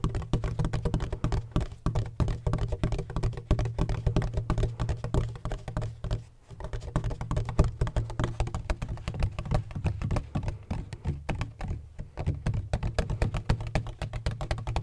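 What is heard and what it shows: Fingertips tap rapidly and continuously on a large, black, donut-shaped hollow plastic bottle with a textured surface and a red cap. The taps make dense, muffled, hollow thuds with a deep low body and almost no brightness, each dying away quickly. The tapping briefly softens around the six-second mark before resuming at the same steady pace.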